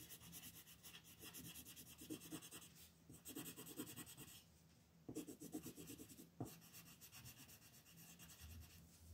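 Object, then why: Colored pencil rubbing on a paper sheet. A blue wooden colored pencil, held in fingers with long painted nails, rubs back and forth on a flat white paper coloring sheet lying on a table, coloring in an eye. Soft, scratchy strokes come in quick bursts over a steady low hum and a bright, papery hiss, with brief quiet gaps between passes.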